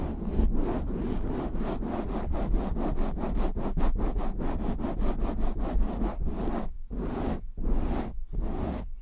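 Short nails and fingertips rapidly scratch a black foam windscreen on a microphone, producing a dense, rhythmic rasping with a heavy low-end rumble. The strokes run together at first, then separate into distinct scraping bursts with brief gaps near the end.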